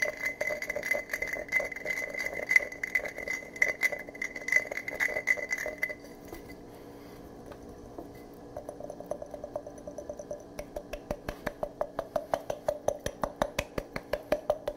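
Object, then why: Glass jar. A medium empty glass jar, held in both hands, is tapped with the fingertips and nails. Quick, bright clicks and clinks carry a ringing tone near 2 kHz over the first six seconds. After a brief lull, the taps return as a steady series of sharp ticks.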